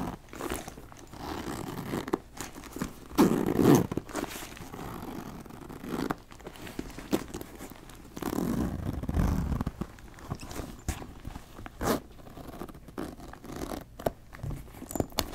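Fingertips and nails scratch and rub the flap of a brown leather backpack held against the chest, and work its zipper. Soft, dull scratching and rubbing runs throughout, with sharp clicks and short zipper rasps. Louder bursts of friction come early and again near the middle.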